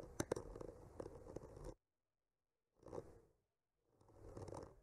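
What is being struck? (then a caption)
Painted wooden panel and bamboo skewer. The tip of a bamboo skewer traces and scratches around the blossoms on a solid wood panel painted with trees. Quiet, dry scratching in the midrange comes in three passes separated by brief silences, with a few sharper ticks early in the first pass.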